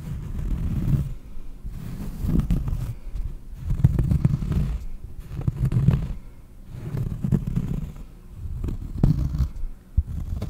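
Fingers scratch a cork surface for ASMR, making a low, muffled rasping that comes in uneven bursts with brief sharp ticks. The sound is dull and bass-heavy, with almost nothing in the high frequencies.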